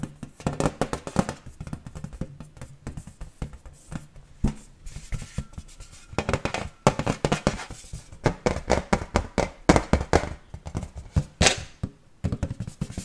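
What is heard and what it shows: An iron Marilyn Monroe decoration is tapped quickly and repeatedly, giving short, dry percussive metallic knocks in irregular bursts with a low-heavy body and almost no ring.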